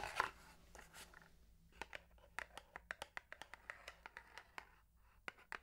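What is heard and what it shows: A long, narrow, hollow printed cardboard box holding a bamboo toothbrush is held in one hand and scratched and tapped with long manicured nails. An opening burst of papery scratching gives way to a run of short, crisp, bright taps with almost no ring, over a faint low hum.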